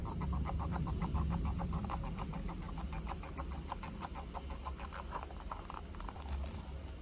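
A small black hollow plastic computer mouse is held in both hands and tapped with the fingertips on its top and sides. Quick, light plastic clicks patter over a steady low hum.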